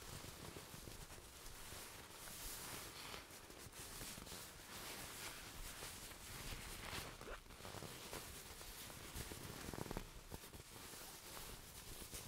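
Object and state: Nothing is struck.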